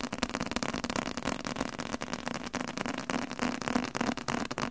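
A leather-covered book is tapped aggressively with rapid, uneven, closely spaced taps. Each tap is short and dry with almost no ring, giving a dull, hollow tone around 240 Hz over a broad, bright clatter.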